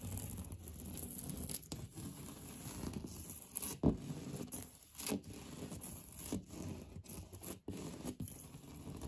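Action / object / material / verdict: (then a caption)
scrape / textured painted drywall wall / drywall / none. Fingernails scratch hard over the raised texture of a solid, beige, knockdown-textured painted drywall interior wall. The result is a dense, rough scraping with a heavy low-end rumble, broken by brief pauses and sharper scratchy accents.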